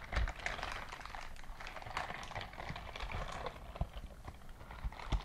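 A white silicone dishwashing glove is clenched and opened close up, so its silicone bristles rub against each other. The result is a dense, continuous rubbery squeaking and crackling texture with short sharp clicks. A few louder pops stand out near the start and toward the end.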